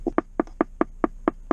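Short, hollow plastic taps on the center console panel under the small coin tray of a 2021 Nissan Rogue SL Premium come in a steady series, each a dull, quick knock with almost no ring. The panel sounds hollow, and the tray extending down takes away space underneath that could otherwise be used.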